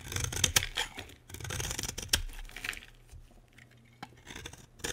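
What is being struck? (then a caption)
Bar of soap cut with a metal blade. A solid, dry green bar of soap held in the hand is carved with a metal utility blade. Bright, crisp scraping and cutting strokes come in quick bursts with brief quiet pauses. Each stroke stops dead with no ring, and a few sharper cuts stand out near the start, middle and end.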